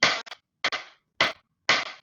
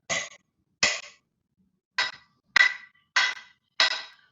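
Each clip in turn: First: Four dry pen taps on a wooden desk top, each a short bright knock with a quick little echo. Second: Six bright pen taps on a metal desk base, each a sharp high click with a brief thin ring.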